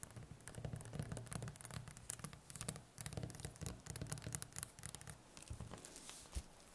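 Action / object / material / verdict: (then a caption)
tap / whole butternut squash / squash rind / none. Long nails tap rapidly across the smooth skin of a large, solid, firm whole butternut squash lying on a wooden table, staying on the skin while plastic wrap covers one end. The taps are soft, dry and quiet, with bright clicky tips over a low, hollow thump, and each one stops instantly in a continuous, uneven patter.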